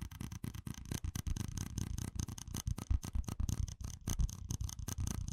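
A small, hollow, empty red plastic cup with ribbed rings is held in one hand and tapped and rubbed with fingertips and nails. It makes a rapid, steady stream of crisp clicks and scratchy rasps over a soft, hollow thump. Each sound stops almost instantly, with no ring.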